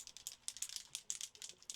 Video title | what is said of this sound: Temu Finds I Couldn't Resist: Wins Or Epic Fails?! | You hear that ball in there?